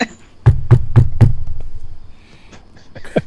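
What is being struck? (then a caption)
Plastic picnic table. Four quick, evenly spaced knocks on a plastic kitchen picnic table, made to knock on wood for luck, give dull low thuds with very little ring. The hollow thunk makes clear the table is plastic, not wood.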